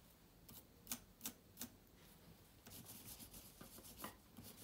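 A yellow microfibre cloth, bunched up, wipes across the plastic keys of a silver laptop with an aluminium body. Soft rubbing and scraping is broken by three sharp, bright clicks in the first two seconds. A denser stretch of brushing and light clacking follows.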